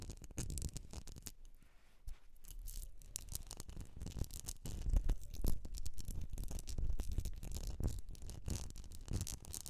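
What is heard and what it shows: Long nails tap and scratch a medium etched glass jar filled with solid wax. Rapid, irregular, dry scratching mixed with short clicking taps is heard, with little ring after each contact. It grows louder and denser toward the middle of the clip.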